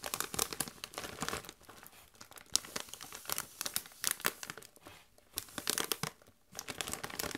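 Gloved hands rub and crinkle a metallized plastic Doritos chip bag that is partly full of chips. Bright, crisp crackles and rustles come in uneven bursts, with a brief near-silent pause around the six-second mark before the crinkling picks up again.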